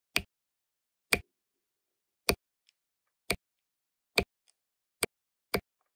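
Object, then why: Plastic drill pen placing resin drills on adhesive canvas. A plastic drill pen with a wax tip taps blue resin drills down onto an adhesive diamond painting canvas. Seven short, crisp, bright clicks sound at uneven intervals, each dying away almost instantly, with near silence in between.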